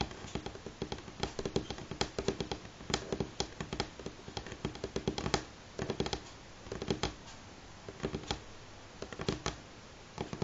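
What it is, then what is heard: Wooden tabletop, solid. Both hands rapidly tap natural fingernails on a solid, light pine-grain wooden tabletop. Quick bursts of sharp, dry clicks with a woody knock beneath them come in uneven clusters separated by brief pauses. Each tap dies away almost instantly.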